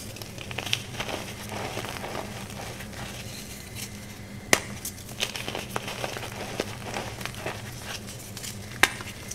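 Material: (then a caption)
Chalk. A solid rectangular pink gym chalk block, held in one hand, is crumbled and crushed by the fingers of both hands into a powder pile on top of purple powder. A steady soft, gritty crackling and crinkling runs throughout over a faint low hum, broken by two sharper, bright snaps near the middle and the end.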